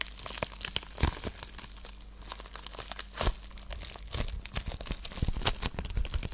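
A white plastic padded bubble mailer with a wrapped item inside is squeezed, crinkled and scratched with fingertips and long nails. The result is a close, dense run of crisp crinkles, scratchy rustles and sharp crackling snaps, with a few louder bursts over a faint steady low hum.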